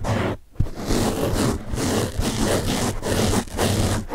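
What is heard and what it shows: Fingertips scratch the top of a large blue open-cell foam car sponge, then both hands hold and rub it. The result is a dense, crackling scrape with a low rumbly body and a bright hiss, coming in continuous bursts broken by brief pauses.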